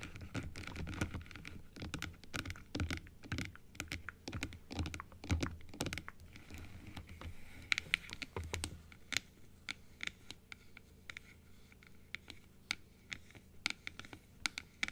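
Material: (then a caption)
Plastic. Long acrylic nails tap on a plastic dental teeth model and its blue plastic upper part, first with the model open and then half-closed. Dense, dry clicking taps come in quick runs with almost no ring and a low thud beneath them. The taps thin out into sparser, brighter clicks in the second half.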